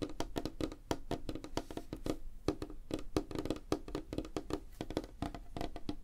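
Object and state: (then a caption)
Wooden tabletop. Fingertips and nails of both hands tap fast on a flat, solid, light wooden tabletop, making a dense, uneven run of short, dry knocks with a hollow woody tone centred near 300 Hz. Each tap dies almost at once, with weight in the low end and faint high clicks from the nails.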